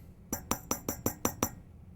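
Glass vacuum tube number two in a powered-on tube amplifier is tapped seven times with a microphone held next to it. Each tap gives a short, dull thump with a bright glassy click and little ring. The tube is judged good, unlike the faulty microphonic tube four, which rings.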